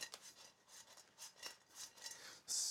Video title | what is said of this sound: Spencers Big 30 S01E02 1080p WEB H264 BUSSYeztv re | listen to how crispy they are